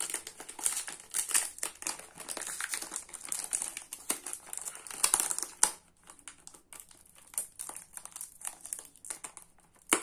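Fingertips and nails peel, tear and crinkle the blue foil and paper wrapper of a Nivea soap multipack with solid bars inside. Dense, bright crinkling and sharp crackles come in rapid bursts, thinning to sparser rustles after about six seconds before a final sharp crackle near the end.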